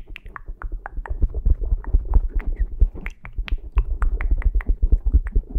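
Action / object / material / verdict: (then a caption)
scrape / foam microphone windscreen / foam / none. Fingertips and short painted nails of both hands scratch and rub the soft, porous black foam windscreen on a Zoom recorder's microphone. The result is a rapid, dense run of close, muffled scratches with deep low thumps and short bright crackly ticks.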